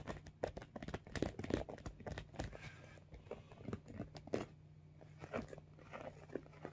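Fingernails tap the top of a medium iridescent holographic vinyl makeup bag, then hands grip and squeeze its sides. Quick, dry clicks and soft crinkling scrunches come in bursts over a steady low hum, with short quieter gaps between.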